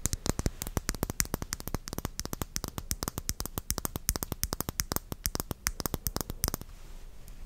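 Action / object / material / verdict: tap / small glass cosmetic bottle with metal cap / glass / none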